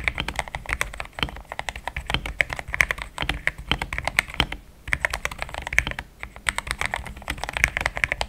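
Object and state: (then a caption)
Plastic mechanical keyboard. Fingertips of both hands type fast on a compact pink-white mechanical keyboard with thick plastic XDA keycaps, a polycarbonate plate and linear switches, resting on a desk mat. The result is a dense stream of short, crisp clacks with a bright, high click over a soft low thump, pausing briefly around 4.6 and 6 seconds.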